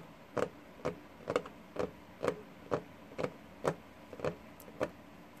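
Fingertips and short nails of both hands tap a flat, solid wooden desktop with a worn, paint-speckled surface. Twelve short, dull knocks land at a steady pace of about one per second. Each has a woody midrange thud around 500 Hz and a quick, dry decay over a soft noise floor.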